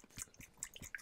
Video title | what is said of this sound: Best Beginner's Kit? Building the Ratio Wartime ARP Flat Roof Signal Box | they do separate out and you can hear that sloshing around